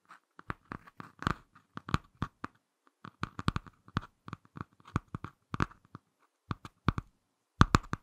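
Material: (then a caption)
Laminated cardboard. Fingertips and short nails tap and scratch the laminated cardboard front cover of a small closed Ladybird hardcover picture book. Some two dozen short, dry clicks and brief scratchy strokes come in uneven bursts at a quiet level. Each one has a soft low knock and a bright edge and stops at once, with no ring.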